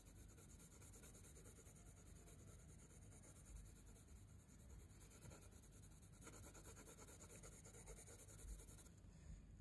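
A hand moves a wooden coloured pencil in rapid rubbing and scratching strokes over a drawing on a spiral-bound paper sketchbook page. The result is a quiet, steady, continuous scratchy rustle, mostly low and soft, with a faint bright hiss above it.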